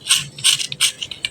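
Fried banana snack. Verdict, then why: Crisp. A quick run of sharp, bright crackles with no ring: a fried banana snack breaking crisply.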